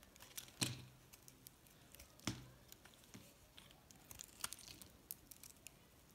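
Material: Soap.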